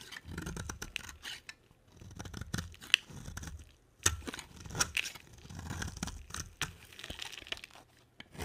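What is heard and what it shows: A box cutter blade shaves a solid, palm-sized orange bar of dry soap, and fingers rub it. The result is quiet, crisp, crunchy scraping and tearing in uneven bursts, mostly bright, with a few sharp clicks standing out.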